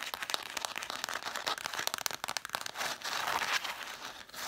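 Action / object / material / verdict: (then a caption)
scrape / stack of cloth-covered hardcover books / cloth, cardboard / none. Long black nails tap and scratch along the red cloth-covered spines of a stack of hardcover books. The first part brings quick, sharp, dry taps with no low end. These give way to a steadier, bright, crinkly scratching that rises and falls.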